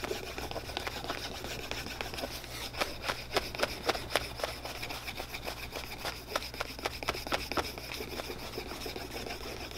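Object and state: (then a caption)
Leather boot sole being burnished. A wooden dowel-like stick is rubbed back and forth by hand across the surface and edge of a solid leather boot outsole held against a cobbler's apron, burnishing it. Brisk, slightly uneven dry scraping strokes come at roughly four per second, bright and raspy, over a faint steady low hum.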